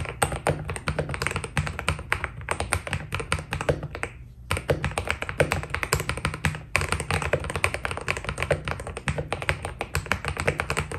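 Fingertips type steadily on a white Keydous NJ80 mechanical keyboard with PBT plastic keycaps, producing a rapid stream of short, crisp key taps over a deep, thocky low end. The typing pauses briefly around the four-second mark, then resumes at the same quick, even pace.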